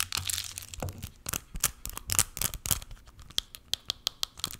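A small clear plastic spray bottle with a white pump, partly full of pink liquid, is scratched and tapped with long nails and shaken. Bright, crinkly scratching and rustling give way to a run of sharp, quick plastic taps that die away almost instantly.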